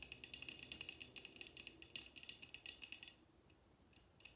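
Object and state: Glass drinking tumbler tapped with fingernails.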